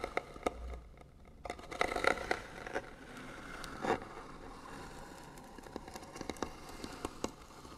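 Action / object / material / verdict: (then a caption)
scrape / small painted wooden box / wood / none. Fingernails scratch the lid of a small, hollow, white painted wooden box, producing dry, crackly scraping with scattered sharp ticks that die away almost instantly. The sound is quiet and centered in the mid-range with some bright edges, with a denser burst of scratching around the two-second mark and a brief low rumble near the start.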